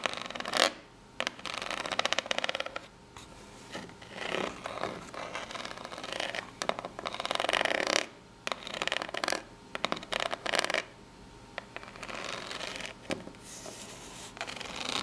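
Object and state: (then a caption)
Corrugated cardboard box being scratched. Long natural nails scratch the ribbed face of a small corrugated cardboard box held in both hands. Irregular bursts of dry, bright rasping and scraping come with short pauses between strokes, and there is almost no low end.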